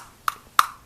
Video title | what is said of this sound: Zastava EZ 9 Compact (HD Review) | that just sounds like plastic